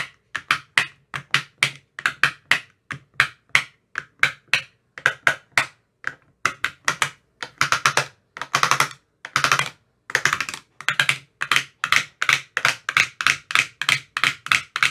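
A thin metal rod with a white rounded tip taps inside the hollow cells of an empty translucent frosted plastic ice cube tray with 15 compartments. The result is a steady stream of quick, bright, dry clicks that die away almost instantly. Around the middle, the tapping speeds into dense, rattling rolls before returning to separate taps.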